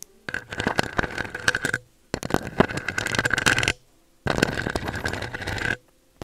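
Long acrylic nails on both hands scratch and tap the round metal mesh grille of a pink USB microphone. The sound comes in three bursts of dense, rapid, crackly scraping and tapping, separated by short silences, with a steady ringing tone in the mid range under the clicks.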